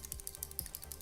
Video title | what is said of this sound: KVD Vegan Beauty Ink Well Long-Wear Matte Eyeliner Review - Trooper Black | you can hear a little shaker ball in there